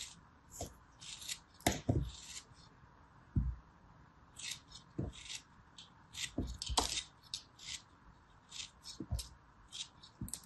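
A small, solid ball of yellow kinetic sand, held between the fingertips, is cut and scraped with a small metal blade. A series of short, bright, gritty scraping and crumbling bursts is punctuated by soft, low thuds as pieces break away, all fairly quiet with brief pauses between strokes.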